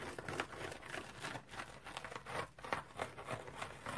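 A round, dry, multicolored striped cellulose sponge is scratched with fingernails. It gives a quick, uneven run of dry, crackly scratching and crinkling bursts, broadband and centered in the midrange, each stroke dying away almost at once.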